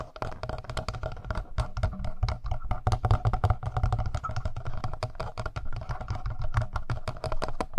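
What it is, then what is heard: Plastic handheld audio recorder, hollow. Fingertips and nails tap quickly on the screen and button area of a hollow black plastic Tascam handheld audio recorder. The result is a dense stream of short, dry taps with a low, hollow thud in each, lasting the whole clip.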